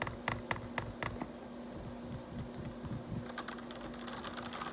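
Fingertips type and tap on the keys of a black plastic RGB backlit computer keyboard. A few distinct sharp clicks come first, followed by a quicker, softer run of irregular key taps over a faint steady low hum.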